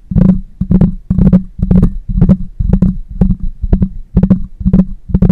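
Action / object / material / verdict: tap / metal mesh microphone grille / metal mesh / none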